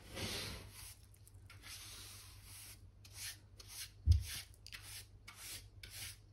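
A black-backed hand brush with pale bristles is swept back and forth over a solid wooden plank floor along a skirting board, brushing dirt and dust from between the planks. Bright, scratchy bristle swishes come in repeated strokes over a steady low hum, with one duller knock partway through.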